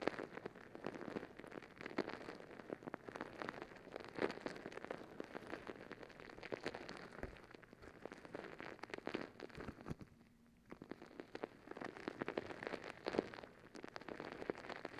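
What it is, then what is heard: Rubber stress ball with gel beads. Long acrylic nails scratch and tap the surface of a palm-sized rubber squishy stress ball filled with gel beads, held in one hand. The result is a dense, crackly patter of quick, dry clicks and scrapes, like rain on a surface, with a brief quiet gap about two-thirds of the way through before the tapping resumes.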